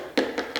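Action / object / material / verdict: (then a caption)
knock / ceramic wall tile / ceramic / hollow. Three light knocks on a decorative ceramic wall tile panel in a living room give short, hollow-sounding taps centered around 270 Hz that fade within a fraction of a second. The hollow spot is normal because wall tiles are spot-bonded, unlike floor tiles, which should be fully pressed.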